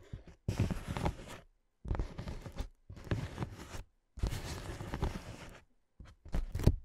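Long nails scratch and tap along the inflated ridges of a clear, hollow, air-filled plastic air-column cushion. The result is a series of dense, crinkly scratching bursts with low, hollow thumps, separated by short silences. The last burst is the loudest.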